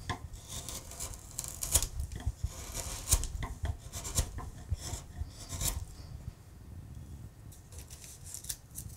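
A hand-held steel gouge pares and scrapes a solid wooden acanthus relief on a carved wooden panel in many short cuts. Each stroke gives a dry, rasping scrape with a low thud underneath and brief bright edges, the cuts coming in quick, uneven bursts with little ring.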